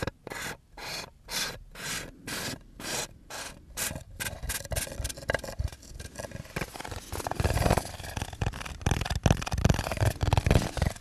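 A hand twists and rubs the screw lid of a small round aluminum tin against its threads, making a steady series of separate, gritty rasping strokes. Then fingertips handle the lid, and the sound turns into denser, louder scratching, ticking and tapping with a low, hollow thump beneath it.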